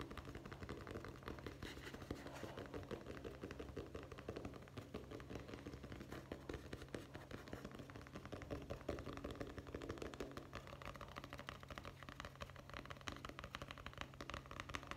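A medium, solid hardcover guest book with a cloth or board cover and gold lettering is held upright and quickly tapped with the fingertips. The result is a quiet, dense stream of rapid, soft, dull taps, weighted toward the low end with little brightness and very short decay.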